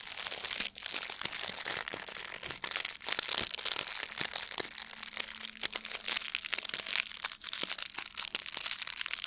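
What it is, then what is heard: Plastic foil gift bow. A blue metallic plastic ribbon gift bow is squeezed and crinkled with both hands. The result is a dense, continuous, bright crinkling and crackling with sharp snaps throughout, and almost nothing in the low end.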